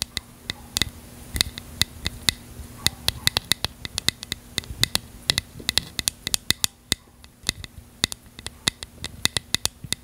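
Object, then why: Small plastic bottle. A small, hollow, translucent purple plastic bottle, held in one hand, is tapped and scratched with long fingernails near the cap. A rapid, uneven series of sharp, bright clicks rings around 3.6 kHz, each dying away almost instantly. Faint scratching and a low steady hum sit underneath.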